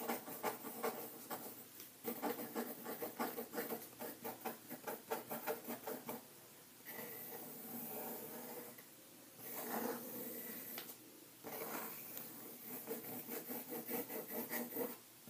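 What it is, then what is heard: Pencil writing on paper in a ring binder. A pencil tip drags across white paper pages in an open ring binder resting on a table, making continuous writing strokes. Dry, scratchy bursts of graphite on paper come in quick rhythmic runs, broken by a few softer, smoother stretches and brief pauses.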